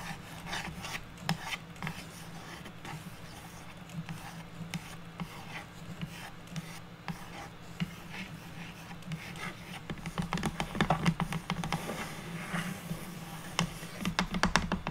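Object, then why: Unfinished light wooden board or box lid. Long natural nails scratch and trace across the grain of a flat, square, unfinished light wooden board or box lid lying on a table. Steady raspy rubbing and scratching comes with a low hum underneath, and sharper, louder scrapes cluster in the last few seconds.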